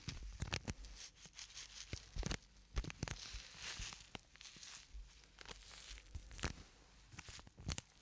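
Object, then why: Small plastic sachet holding a granular filling. A small, flat, purple-and-white printed plastic scent sachet holding a sandy filling is held up by a microphone and squeezed and rubbed between fingers. The result is a crinkly, sandy rustle with sharp, bright crackles and short bursts of grainy friction over soft, low handling noise.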